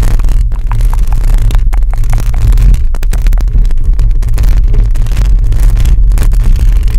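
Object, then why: Metal mesh microphone grille. Long acrylic nails on both hands scratch a hollow metal mesh microphone grille. This makes a dense, continuous rasping scrape heard as a loud, boomy low rumble with a steady hum near 113 Hz, and little high-end content.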